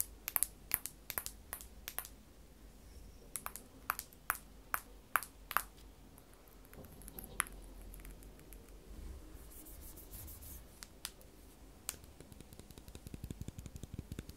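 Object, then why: Aluminium and glass smartphone. Long false nails tap and scratch the case of a small, solid silver iPhone with a metal back and glass screen, held in the hand. Irregular, sharp clicky taps with a brief bright ping die away almost instantly, clustered early in the clip. They give way to softer scratching and a quicker run of light taps near the end.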